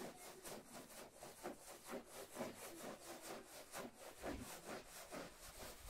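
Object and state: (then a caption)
Wool pile rug being scrubbed. A small, dirty, traditional red patterned wool pile rug lies flat on the floor, covered in soapy foam, and is scrubbed with a stiff-bristled brush on a long yellow handle. Wet, rasping scrub-and-rub strokes repeat in a steady rhythm of roughly two per second. Each stroke is a broad swish with a bright, hissy top and a mid-range body.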